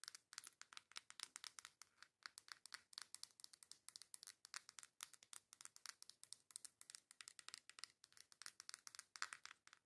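A coral cardboard makeup face palette is held by its edges while long nails rapidly tap and scratch its front and sides, perhaps with slight shaking. The result is a steady stream of about 70 quiet, dry, bright clicks and scrapes with almost no low end, each dying away instantly.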